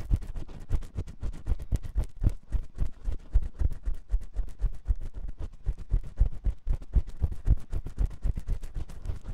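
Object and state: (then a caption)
Silicone microphone ear being scratched. A metal spiral ear pick scratches inside the canal of a white silicone ear on a 3Dio binaural microphone. It makes rapid, uneven, close-up scraping strokes, about four per second. Each stroke sounds as a deep, muffled thump-rustle with almost no high end.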